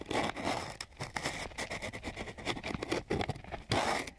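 A flat wooden stick rubs and scratches across a flat sheet of coarse sandpaper in quick, repeated strokes. The result is a dry, gritty rasping with bright, hissy grit noise and short crackly bursts that rise and fall throughout.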